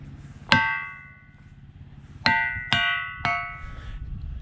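A steel rock hammer with a blue grip strikes a large, solid, dark, lichen-covered mafic igneous boulder, a ringing rock in a boulder field. Four metallic clangs ring out, one alone and then three close together, each with a bright bell-like tone around 1.5 kHz that fades over a fraction of a second.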